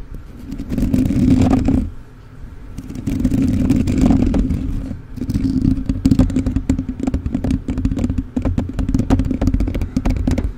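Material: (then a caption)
Metal mesh. Fingertips and nails of both hands scratch and rub the bare black metal mesh grille of a rhinestone-covered USB microphone with a hollow capsule head. Heard close-up, the grille gives a dense, rapid scraping clatter with a low, boomy hum around 250 Hz. The rubbing comes in sustained waves, easing off briefly around 2 and 5 seconds before picking up again.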